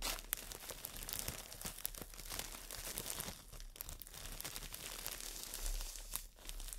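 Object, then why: Foam brick wrapped in plastic film. A green floral foam brick in clear plastic wrap is scratched and squeezed with long nails, then held up and crinkled. The result is a dense, continuous run of bright, sharp crinkles and scratchy rustles with quick crackling snaps, over a faint low hum.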